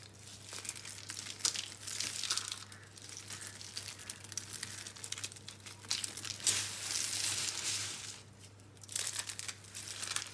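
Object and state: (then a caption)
Dry soap curls. Bare hands squeeze and crush small, hollow, dry green-and-pink recycled soap curl rolls in a pile of soap crumbs. Dense, bright crackling and crinkling crunches come in repeated bursts over a faint steady low hum.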